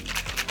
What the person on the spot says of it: il y a de l'eau vous entendez je mets de l'eau en fait et je secoue